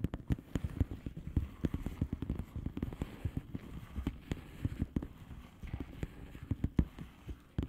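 Long polished fingernails on both hands tap and scratch quickly across a flat blue plastic bubble wrap envelope. The result is a rapid, uneven stream of dull, low, padded taps that die away almost at once, with soft scratchy texture between them and little brightness.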